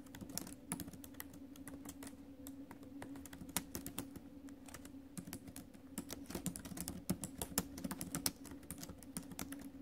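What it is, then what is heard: Laptop keyboard with plastic keys. Fingertips and nails tap the plastic keys of a silver metal laptop while typing. Dense, irregular clicks with bright, sharp attacks that die away almost at once, over a steady low hum. The typing runs continuously for about ten seconds, with a few louder taps standing out.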